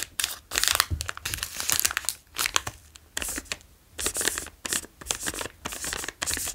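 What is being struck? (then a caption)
Plastic cracker wrapper. A flat plastic Wasa Sandwich Pizza pack with crispbread inside is held in both hands, tapped and traced with fingertips, and crinkled. Bright, crackly rustling comes in bursts separated by short quiet gaps, with little low end and no ring after each crinkle.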